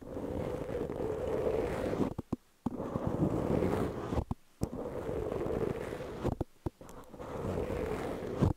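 Long peach-painted fingernails on both hands scratch a medium-sized black foam windscreen that is soft and porous and sits over a microphone. The result is a dense, muffled, scratchy rustle with a low rumble and most of its energy in the low-mid range. Brief near-silent pauses and a few sharp clicks break up the steady scratching.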